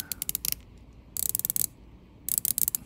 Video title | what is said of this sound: Finally an Answer! Which one is Better?? Rolex Submariner vs Omega Seamaster Starbucks Seaweed watch | it sounds a little bit Hollow to me